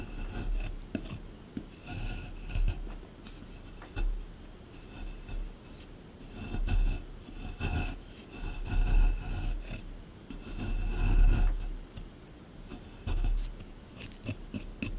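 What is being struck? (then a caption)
Plaster excavation block. A small plastic or wooden chisel held in the fingers scrapes and chips at a solid, hard, dry rectangular plaster block from a dinosaur dig kit, set in a plastic tray. It makes irregular bursts of dull, low rasping and scratching, with brief quieter pauses between strokes. Loose crumbs pile up as the plaster wears away.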